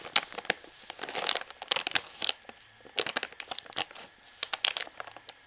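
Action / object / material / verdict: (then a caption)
scrape / full plastic washing powder pouch, crimped seam / plastic / none. Long fingernails scratch and tap along the crimped plastic seam at the top sealed edge of a full plastic washing powder pouch. The result is bright, crinkly scratching mixed with sharp, dry clicks in quick irregular bursts, with brief quiet gaps and almost no low end.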